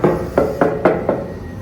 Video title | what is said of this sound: HILUX & TAMARAW GRS Meter - ORIGINAL | nung tinuktok natin, parang napakagaan nga niya